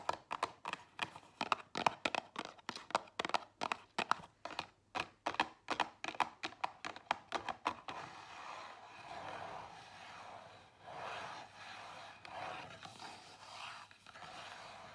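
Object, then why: Small cardboard box tapped and scratched with fingernails. Long nails tap rapidly on the front of a small Zara cardboard perfume box resting on a table, making a quick run of sharp, dry clicks for about eight seconds. The tapping then gives way to a steady, bright, rasping scratch across the box for the rest of the clip.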